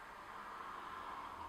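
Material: Nothing is struck.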